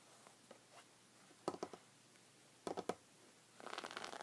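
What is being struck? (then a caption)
Woven fabric rug. Fingertips with red nails scratch the woven surface of a folded white textured fabric rug resting on a wooden table. Faint scratches give way to two clusters of three short, dry scrapes. The clip ends in a denser, continuous rasp with a bright, hissy edge.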